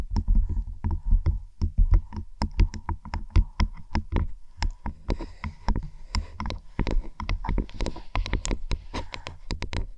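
Long acrylic nails and fingertips tap and scratch along the stitched, padded faux-leather headband of black over-ear headphones with metal sliders, which rest over a binaural microphone. A steady, irregular stream of short, dull taps with a deep, boomy thump comes through, each with a faint bright click on top and almost no ring. Brief scratchy brushing fills the gaps between them.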